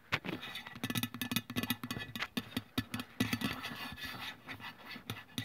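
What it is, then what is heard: Aluminium aerosol can. Long press-on nails scratch and tap along the printed side of a white-and-blue Nivea aluminium deodorant spray can lying on its side on a wooden table. Its hollow metal body gives a quick, dense run of light clicks and scrapes with a short ring around 254 Hz and a bright, crisp top.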